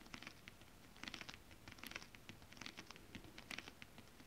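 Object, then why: Shiny scale-printed fabric sheet tapped with fingernails. Long acrylic nails tap and scratch a flat sheet of shiny holographic mermaid scale-printed fabric with both hands. Quick, quiet, clicky taps and scratchy patters come in irregular bursts, bright and crisp with almost no ring, over a faint low rumble.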